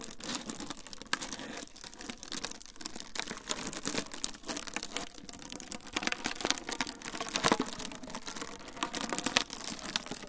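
A rolled tube of clear plastic wrap is squeezed and twisted with both hands right next to the microphones. It gives a steady stream of dense, bright crinkles and sharp crackles with no ring, a few louder snaps near the middle and end.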